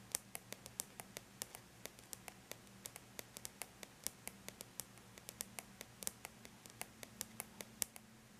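Long bare natural nails lightly tap the flat, silver-gray surface of an aluminum laptop lid, producing about 43 quiet, sharp, bright clicks in an uneven rhythm. Each tap dies away almost instantly over a faint, steady low hum.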